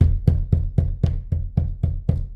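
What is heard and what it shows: A hand knocks nine times in an even rhythm on the white-painted birch plywood interior wall of a modular cabin, used instead of drywall so it won't crumble during highway transport. Each knock is a dull, low, woody thud centered around 86 Hz that dies away almost at once. The wall sounds solid wood, firm enough that the knocking doesn't break through as it would on drywall.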